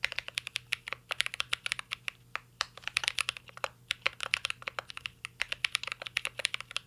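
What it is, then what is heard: Mechanical keyboard being typed on. Fingertips of both hands type on a full-size CYBERBOARD R3 mechanical keyboard with an aluminum case, plastic keycaps and Holy Panda switches. A rapid, uneven run of sharp, bright key clicks and clacks follows, each dying away at once, over a faint low hum.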